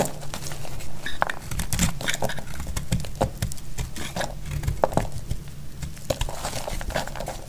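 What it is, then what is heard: Dry soap bar being cut. A solid, dry orange bar of soap held in the hand is shaved and cut with a metal utility blade into crumbly flakes. A dense, dry crackling and crunching rasp continues throughout, punctuated by sharp little snaps and clicks as flakes break away.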